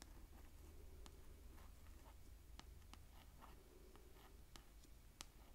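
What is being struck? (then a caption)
Paperback book with glossy card cover. Long acrylic nails tap and scratch the glossy card cover of a hardcover-sized paperback book, "The Office," held upright and closed in one hand. Quiet, sharp clicks and soft scratchy rasps stand out over a steady low hum, each tap dying away almost instantly.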